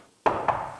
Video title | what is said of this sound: 3000만원 쏜다! | 제품은 통 알루미늄으로 되어 있습니다